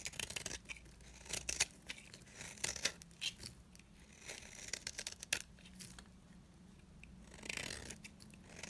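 A dry, solid yellow bar of soap held in the palm is scraped with a box-cutter blade. Quiet, crisp scraping and shaving sounds come in irregular bursts, mostly high and bright with little low end, and each stroke ends quickly.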